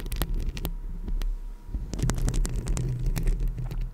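Long lilac acrylic nails on both hands scratch and tap the hollow metal mesh grille of a rhinestone-covered Blue Yeti microphone. The result is a deep, booming low rumble and thumping, broken by sharp, bright clicks and scrapes from the nails on the mesh.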